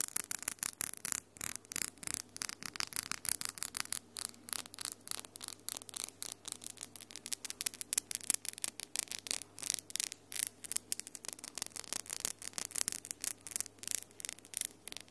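Long pink-and-white glittery acrylic nails, small and solid, are tapped and clicked rapidly against the nails of the other hand in front of a Tascam recorder, with gold rings on the hand possibly adding faint clinks. The result is a dense, fast stream of sharp, bright, very short clicks that continues steadily throughout, over a faint low hum.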